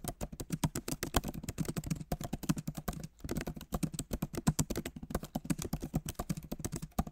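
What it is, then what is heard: Laptop keyboard with plastic keys. Fingertips of both hands type fast on the solid, backlit keyboard of a MacBook Pro, its plastic keys set in an aluminum body. A rapid, steady stream of short, dry key clicks has a soft low thump under each bright tap, with brief pauses around two and three seconds.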